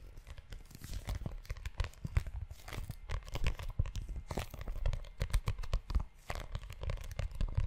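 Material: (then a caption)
Leather. Fingertips and short nails scratch and tap the tan leather cover of a book-sized notebook held close to the mic. Dense, rapid scratchy rustling mixes with soft, dull low thumps, with brief bright crackly bursts riding over a heavy low-end rumble.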